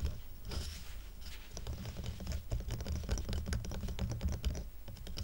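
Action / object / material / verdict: tap / stack of square wooden coasters / wood / none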